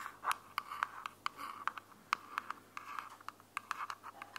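A small, closed, hollow white plastic earbuds charging case is held in one hand while long glittery fingernails scratch and tap its flat top. About nineteen short, sharp clicks stand out over a soft, continuous scratching, with a dry, hollow tone centered near 1.1 kHz and bright edges. Each tap dies away almost instantly.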